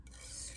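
A white plastic scale ruler with black tick marks indented into the plastic is scratched along its surface. The result is a short, quiet, raspy scrape with a bright, hissy high end over a low hum. The indented marks give it a ridged texture, like running fingers across teeth.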